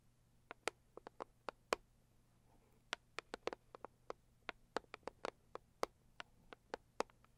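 Long nails tap and scratch on a cardboard Saviland product box, making 24 sharp, dry clicks with no ring that come in uneven bursts over a quiet, steady low hum.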